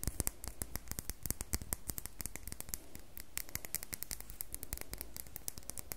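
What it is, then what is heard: Bar of glycerin soap. Long nails scratch and rub the surface of an unwrapped, handheld, solid red glittery square bar of glycerin soap. A fast, dense run of short, sharp scratchy clicks with bright tops sits over a soft low rumble, each tick dying away almost instantly.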